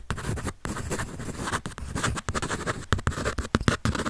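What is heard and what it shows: Quick pencil strokes scratch across the sheet of a white paper drawing pad held up in the air. A dense, dry scratching texture runs almost continuously, broken by brief pauses and a few sharper, louder strokes toward the end.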